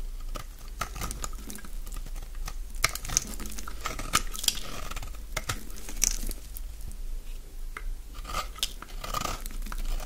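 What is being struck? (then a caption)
Bar of soap. A solid, dry green bar of soap held in the palm has its flat face scraped with a utility-knife blade. Repeated dry, rasping scrapes and crisp crunchy shavings sound over a steady low hum, with a bright edge peaking around 3.3 kHz.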